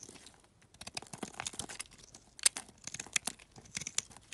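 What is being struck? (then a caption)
Solid bar soap scraped with a metal knife. A metal utility knife scrapes and carves crumbly shavings off a hand-sized, greenish-beige solid bar of soap held in a hand with painted nails. The result is a quiet run of dry, bright, crisp scraping and crunching bursts at an irregular pace, with a sharper crackle near the middle and almost no low end.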